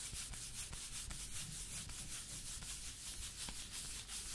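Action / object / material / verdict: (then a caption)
scrape / small cardboard box of playing cards / cardboard / none. Long painted fingernails and fingertips rub and tap a small printed cardboard box of UNO Zelda playing cards, closed and apparently full of cards, held in the hand close to the mic. A steady, quick, bright scratching hiss runs throughout, broken by soft low thumps and crisp clicking taps.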